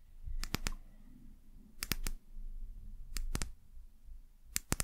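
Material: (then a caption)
Glass. Long nails tap the hollow bottom of a small brown amber glass bottle, making eleven sharp, bright clicks in four quick clusters of two to three. Each tap dies almost instantly over a soft, low background rumble.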